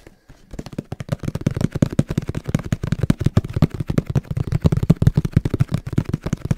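A camera box is tapped rapidly with the fingertips in a fast, uneven patter of short, dry, hollow knocks. The taps are low and thumpy, centered around 160 Hz with almost no high-frequency content, and each dies away almost instantly. The tapping begins after a brief near-silent moment and continues densely to the end.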